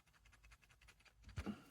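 A loose plastic control piece on the right earpiece of JLab Rewind 2 retro wireless headphones is shaken while the earpiece itself is held still. It gives a quick series of soft, light rattling clicks, ending in a slightly louder knock. The piece is entirely loose and rattles freely.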